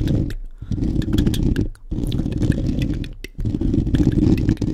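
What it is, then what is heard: Foam microphone windscreen being scratched. Fingertips and short nails of both hands scratch rapidly over the soft, porous black foam windscreen covering a large studio microphone. The result is a dense, loud, low rumbling scrape with faint crackly ticks on top, in three sustained bursts separated by two brief dips in level.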